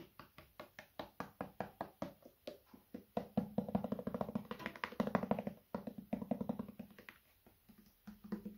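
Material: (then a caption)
Plastic. A medium, hollow white plastic lotion-type bottle, its fill level not visible, is held in one hand and tapped on its side with the fingertips of the other hand. It gives quick, dry, hollow taps with a low resonant tone around 210 Hz and almost no ring. The taps start slow and evenly spaced, speed into dense rapid flurries in the middle, then thin out again toward the end.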